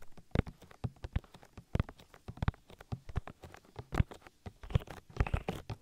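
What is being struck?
Silicone ear of a binaural microphone.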